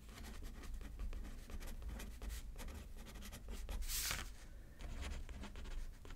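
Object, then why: Pen on a paper card over a paper pad. A pen writes left-handed on a thin paper card lying flat on a thick paper pad, making soft, steady scratching strokes with a dull low rumble underneath. Around the middle, one longer, brighter scratchy stroke stands out before the quieter writing continues.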